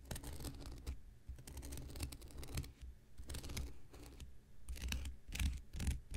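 An X-Acto knife blade scratches the surface of a thick, hand-sized, light blue porous cellulose sponge block held in the hand. The result is a series of dry, crackly scratching bursts with bright rasping edges over a low, muffled rumble, rising and falling as the blade strokes.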